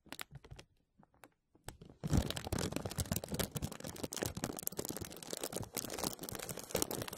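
A thin, clear plastic film bag sits over a microphone grille while fingertips and nails rub and press it. A few sparse, sharp crinkles come first, then from about two seconds on it turns into dense, continuous, close crinkling and crackling with a bright, papery edge and a low, muffled rumble underneath.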